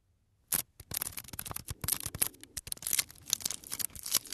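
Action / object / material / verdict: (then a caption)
tap / small wooden block / wood / none. Fingertips and nails tap and scratch the surface of a small, light, solid wooden block held close to the microphone. A quiet, rapid run of dry, bright clicks and scrapes starts after a short silence, with almost no ring or low end.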